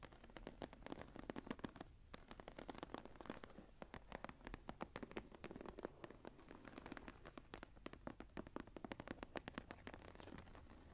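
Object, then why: Embossed leather journal cover. Long nails scratch the raised geometric embossing near the top edge of a closed embossed leather journal cover lying flat. The result is a dense run of quick, dry scratching clicks with a faint crackle, briefly thinning out around two seconds before continuing steadily to the end.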